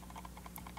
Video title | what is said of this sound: Glorious Model O 2 Pro, D 2 Pro with 4K/8K editions! | when you shake it you can hear there's a little bit of rattle in there